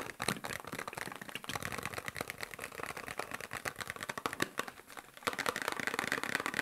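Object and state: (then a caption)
Cardboard medicine box tapped. Fingertips and nails of both hands tap fast on a small, hollow, printed cardboard medicine box with a shield-and-cross logo. The result is a dense stream of dry, clicky taps with a bright edge and almost no low end, each dying away almost at once. The tapping thins briefly, then returns louder and busier for the final stretch.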